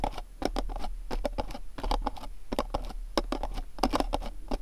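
Fingernails tap the top and sides of a small, dark, printed cardboard candle box standing on a cloth. The result is a quick, uneven patter of dry, hollow clicks with a low papery thud and no ring.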